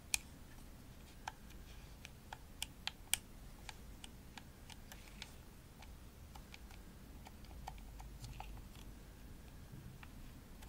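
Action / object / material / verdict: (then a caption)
tap / plastic game controller shell and buttons / plastic / none. Long nails tap the shell and buttons of a hollow, pink glossy plastic Xbox controller. The result is sparse, irregular, bright clicks with almost no ring, over a low, steady background rumble.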